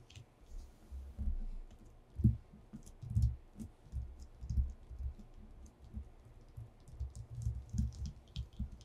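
Both hands drum short-nailed fingertips on a flat white paper sheet lying on a dark wooden desktop, tapping fast like typing on a keyboard. The result is a quiet, irregular patter of dull, low, muffled thuds, each dying away almost at once, with faint bright ticks from the nails.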